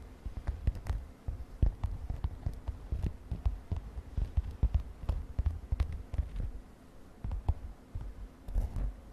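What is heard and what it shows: Long nails tap on a padded, mint-green glittery synthetic fabric makeup pouch, making a quick, irregular run of soft, dull thumps. The taps are muffled and deep, with almost no bright edge, and each dies away almost at once.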